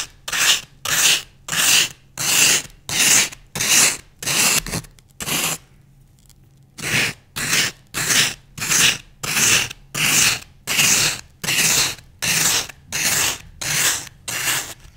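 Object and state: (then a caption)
Floral foam block scraped. A solid green floral foam block held in one hand is scraped and rasped by one or two thin wooden skewers across its scored, grid-patterned surface. Bright, dry rasping strokes repeat steadily at about one and a half per second, with a brief pause near the middle.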